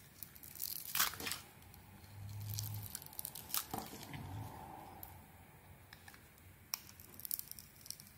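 A metal blade shaves curls off the surface of a solid oval bar of soap with a red glitter coating and a cream inside, held in the hand. Crisp, bright scraping and tearing strokes come in uneven bursts, with a few soft low thumps between them. The sound is dry and close, with no ring after each cut.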